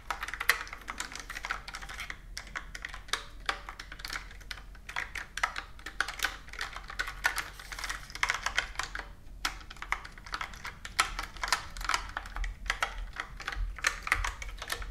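Fingertips with long nails type rapidly on a plastic computer keyboard with round plastic keys resting on a table. The result is a steady stream of sharp, dry clicks and taps centered around 2 kHz with bright edges, each stopping almost instantly, over a faint low hum.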